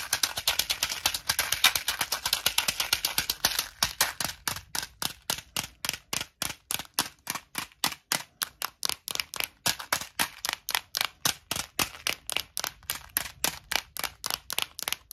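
Long nails tap a small, clear plastic Tic Tac box full of mints. The result is a stream of sharp, bright plastic clicks with very little low end: dense and rapid at first, then settling into separate taps at about four per second, each dying away almost instantly.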